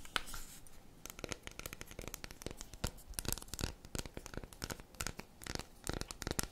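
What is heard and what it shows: Long red acrylic nails scratch and tap the segmented surface of a solid, unwrapped dark chocolate bar held tilted, with crumbs on the table below. Dense, quick, dry clicks and scratchy rasps with a bright edge run throughout, each dying away almost instantly.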